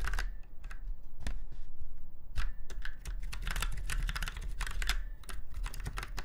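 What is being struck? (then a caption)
Mechanical keyboard with round keycaps. Fingertips of both hands type on a retro typewriter-style mechanical keyboard with round white keycaps set in chrome-look rings on a silver frame. Quick, crisp clicks with bright snaps run in an uneven, continuous patter over a steady low hum.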